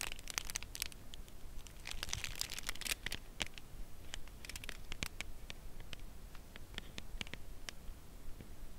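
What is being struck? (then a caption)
Thin cardboard box. A Lindt Caramel chocolate bar in its thin, closed cardboard sleeve, held on edge in both hands, is tapped gently with long press-on nails while the hands shift position a little. Quiet, dry, bright clicks and ticks come in an uneven stream over a soft papery rustle, each tap stopping almost instantly.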